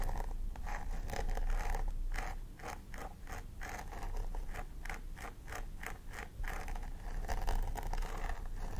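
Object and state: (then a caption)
Plastic doll head with synthetic hair being scratched. Long nails scratch through the dense synthetic hair at the scalp of a plastic doll head while a thin wooden stick is held along the parting. The result is a steady run of dry, crispy scratching strokes, each a short bright rasp over a low rumble. The strokes repeat at an uneven, brisk pace throughout.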